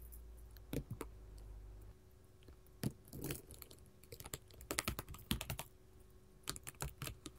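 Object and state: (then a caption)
Glass mosaic tile sheet. A sheet of small colored glass mosaic tiles lying flat on a table is tapped and scratched with long gold filigree metal finger claws. Quick, dry, bright clicks come in scattered bursts, with brief scraping between them over a low steady hum.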